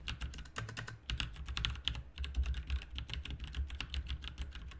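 Fingertips of both hands type continuously on a full-size backlit RGB mechanical computer keyboard, with plastic keycaps on a hollow plastic/metal case. A rapid, uneven stream of short, bright clacks rides over a deep, hollow low thump from the case, and each keystroke dies away almost instantly.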